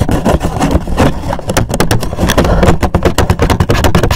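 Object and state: Cardboard gift box, tapped and scratched.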